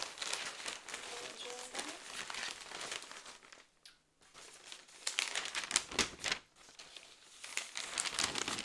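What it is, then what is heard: Newspaper pages being handled. A stack of newsprint newspaper pages held in the hands is flipped and folded with the fingertips. It makes dense, bright crinkling and rustling, with sharp paper snaps and a brief near-silent pause around the middle before the rustling picks up again.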